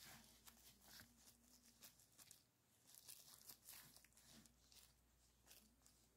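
Latex-gloved fingertips squeeze, crinkle and pop a small folded piece of clear plastic bubble wrap with green filling, then set it down on a towel. The result is a quiet, bright stream of crisp crinkling and short, sharp snaps over a faint low hum.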